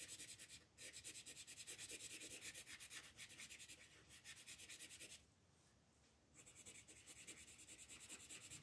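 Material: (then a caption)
Paper. An orange colored pencil shades a flat paper coloring book page with rubbing strokes. The strokes make rapid, bright, scratchy sounds at about three per second. They pause for about a second near the five-second mark, then resume.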